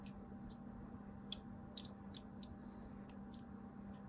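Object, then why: Solid bar of soap. A blade is drawn across a solid white DURU bar soap, cutting long diagonal lines into its surface. Quiet, sharp, bright clicks and crisp scratches come in an irregular series over a steady low hum, each one very short with almost no ring.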